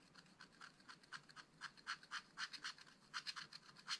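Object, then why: Black-coated scratch-art card scraped with a wooden stylus. A wooden stylus scratches repeated short strokes across the black-coated card of a flat, spiral-bound scratch-art pad. Each stroke makes a quiet, dry, bright scrape with almost no low end, and the strokes come in an uneven, quick series.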